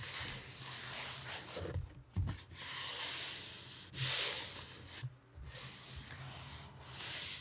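A purple nitrile-gloved hand rubs and scratches with fingertips and palm across the flat lid of a large closed corrugated cardboard shipping box with a printed logo. The result is a steady, bright, papery scraping hiss with a soft low rumble underneath. It breaks off in brief pauses and then resumes.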